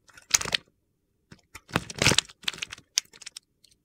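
A utility knife cuts and scrapes small cubes off the face of a solid green bar of soap, and the cubes crumble away. Short bursts of crisp, gritty crunching and scraping are heard, bright and high-pitched, separated by brief silences.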